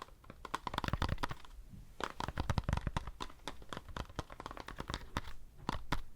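Fingers tap a foam decorative pumpkin in a quick, uneven flurry of soft, dull taps. The taps are close and short, with low thuds and a light scratchy, crinkly edge.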